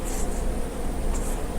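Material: Nothing is struck.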